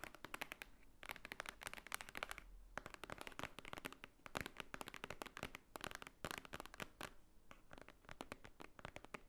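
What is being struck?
Thick paper book.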